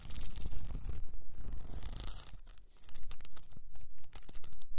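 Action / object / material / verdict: scrape / plastic rhinestone-covered cylinder / plastic / none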